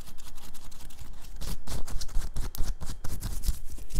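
Long pink-and-white nails on both hands scratch rapidly over the printed bear graphic and fabric of a worn black cotton t-shirt. The result is a fast, continuous run of dry, papery scratching strokes with a soft low thump under each stroke, growing louder and brighter about halfway through.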